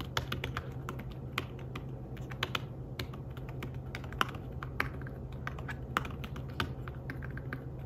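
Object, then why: Fabric-covered tablet keyboard. Fingertips tap the keys of a slim fabric-covered tablet keyboard while typing, producing soft, short, dry clicks in an irregular stream with occasional sharper, louder taps. A steady low hum sits underneath throughout.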